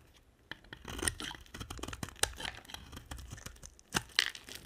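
A hand-sized, solid, cream-white dry soap bar is held in one hand and carved with a box-cutter blade. Scraping strokes make bright, crunchy, crackling tears and brittle clicks. Crumbly chips shed from the bar in short, dry bursts.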